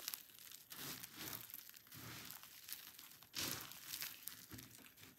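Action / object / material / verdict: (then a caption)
scrape / soap shavings / soap / none. A hand digs into a heap of dry pink and white soap shavings, crushing the flakes between the fingers and fingertips. The result is a steady, bright crunchy crumbling and crinkling, with a few louder crunch bursts.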